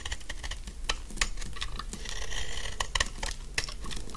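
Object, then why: Soap bar scraped with a metal blade. A solid pink dry soap bar has its edges shaved with a metal snap-off knife blade in repeated scraping strokes, with chips falling away. Dry, crisp scraping and crackling comes in quick bursts over a low steady hum, with short bright ticks standing out among the strokes.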